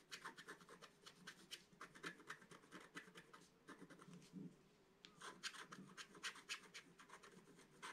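A wooden stylus scratches fine lines into the coating of a flat, black-coated scratch-art card. Quiet, bright, dry scratching strokes come in a quick, uneven series of about four per second. There is a brief lull near the middle before the strokes resume.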